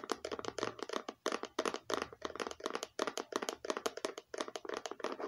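Long painted nails tap rapidly and irregularly on a small, hollow, red hard-shell plastic eyeglasses case with a faux-leather stitched look, held close. The taps come in quick bursts with short pauses between them, each a dry, hollow click with a mid-range body and a bright edge. They stop instantly, with no ring.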